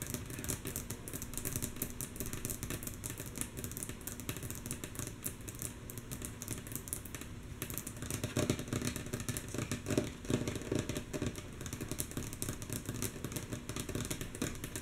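A flat, light, solid wooden tabletop is tapped quickly and rhythmically with the long natural nails of both hands. The taps come as a dense, mostly soft clatter with a low rumbling body underneath. There are brighter clicks on top, and a few louder taps come around the middle.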